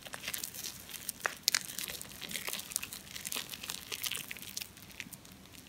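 A solid, foamy ball of compressed wet soap shavings is held in cupped hands and rubbed and squeezed with the palms and fingertips. It makes a steady, bright crinkling and crackling, with many soft, quick squishes and a few sharper pops, and almost no low end.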